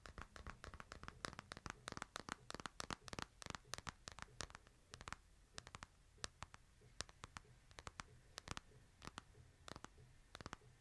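A smartphone in a plastic case is held upright in both hands while fingernails scratch and tap the case and glass. The result is a quiet, rapid stream of sharp, dry clicks, sometimes in quick bursts and sometimes spaced out, each dying away at once. Soft scratching and a low rumble sit underneath.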